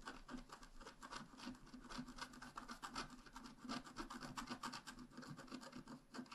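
A wooden stylus tip scratches small, quick strokes across a flat, black wax-coated scratch-art card, a solid thin card about A5 size lying on a table. The result is a steady, dry rasping scrape of rapid overlapping strokes with a bright, papery hiss and no ringing after each stroke.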